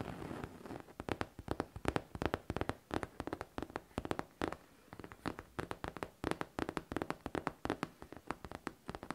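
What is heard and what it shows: A hollow pink faux leather backpack is tapped with long teal nails in quick, irregular bursts of short, dry clicks. Each tap decays almost instantly, with a dull midrange body and a bright, crisp edge. Brief pauses fall between the clusters of taps.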